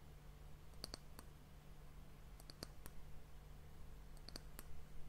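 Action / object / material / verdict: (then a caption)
tap / varnished wooden end cap of an hourglass / wood / none. Long nails tap the top surface of a solid, varnished brown wooden disc end cap on a glass hourglass. Short, dry, bright clicks come in small clusters over a steady low hum, each dying away almost at once with no ring.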